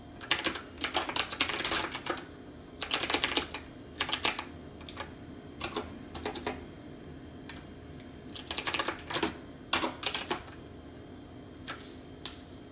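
Both hands type steadily with their fingertips on a backlit plastic computer keyboard with round plastic keycaps. Quick bursts of bright, crisp key clicks come in clusters separated by short pauses, over a faint steady low background hum.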